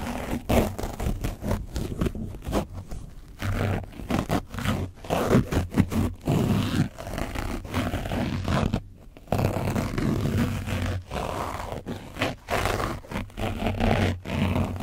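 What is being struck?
Foam microphone windscreen coated with dried paint.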